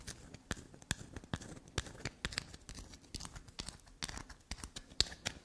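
Long black nails tap and scratch a small, solid, carved bar of black soap. Quick, dry, bright clicks and scrapes follow one another in a fast, irregular run, each ending almost at once.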